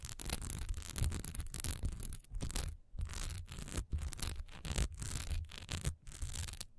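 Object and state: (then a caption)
Textured wax pillar candle being scratched. Long nails scratch quickly across the sides and top edge of a single solid wax pillar candle with a diamond texture, standing upright. The result is a string of fast, rough rasping bursts with short gaps between them. Each burst carries a heavy low rumble under a thin, bright scratchy hiss.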